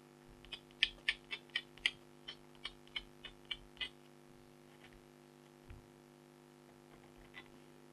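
A stylus scratches near the bottom edge of a flat, thin, black-coated foil scratch art card, which is held by a hand with long blue nails. Twelve short, bright, scratchy strokes come in a quick, uneven rhythm over the first four seconds, then two fainter scrapes follow. A steady low hum runs underneath throughout.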